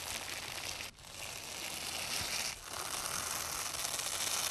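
A black-gloved hand holds one end of a long strip of white nylon hook-and-loop (velcro) tape while the other hand peels the layers apart and presses them back along the strip. The result is a steady, bright, crackling rip, with two brief dips in loudness at about 0.9 and 2.6 seconds before the tearing texture resumes.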